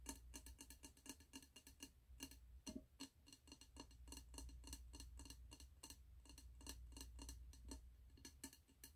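Fingertips and short nails tap the glass side and gold metal lid rim of a medium 3-wick glass candle jar with a red label, filled with wax and held in both hands. The result is a rapid, irregular stream of quiet, bright clicks and short glassy ticks that die away almost at once, over a steady low hum.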